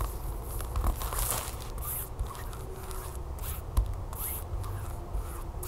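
Long fingernails scratch and rub the glossy back side of a flat, sealed plastic tablecover package with a barcode. The result is a steady crinkly scraping and rubbing over a low rumble, with brief bright rasps and a few sharper clicks along the way.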